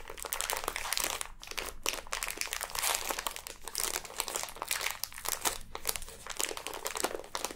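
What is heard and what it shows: Long nails pick, scratch and crinkle the clear plastic wrapper of a full, sealed package of pink kinetic sand, and then fingers press the package. The result is a steady stream of dense, bright crinkling and crackling with quick, sharp ticks and almost no low end.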